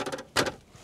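A fold-down plastic tray on the back of the front seat of a 2026 Mitsubishi Destinator GT CVT top-of-the-line model is knocked on to show its sturdiness. A few quick, light hollow taps are followed by a louder, dull thud with a midrange body and brief clatter, and the sound dies away almost at once. The tray holds firm and proves very strong.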